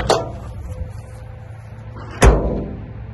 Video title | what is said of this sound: 1959 Land Rover Series II Patina Restoration FOR SALE! | it sounds solid and it closes nice and square